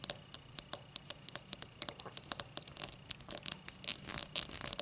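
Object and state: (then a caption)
Cut crystal highball glass. Long matte black nails scratch and tick against the star-cut base of an empty, tall cut-crystal highball glass held base-first. A run of sharp, bright, dry clicks with almost no ring comes in a quick, uneven rhythm. Toward the end the clicks thicken into a dense, rasping scratch.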